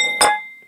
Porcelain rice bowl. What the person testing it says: if stuff will ring it doesn't have a crack to it